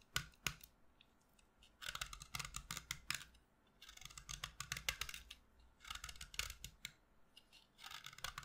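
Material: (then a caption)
Chalk. A utility knife blade scrapes and shaves a solid pastel green chalk stick held in one hand over a dark table, dropping chalk shavings and dust onto the table. Quick, dry, bright scraping strokes come in bursts, separated by short quiet pauses.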